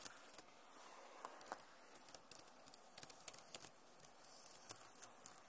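Long nails tap and scratch across the plastic keys of a backlit Acer laptop keyboard. About 17 quiet, sharp clicks land at an uneven pace over a soft, hissy scratching bed, each tick bright and very short with no ring.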